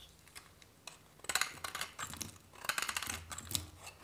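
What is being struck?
Soap bar cut with a metal knife.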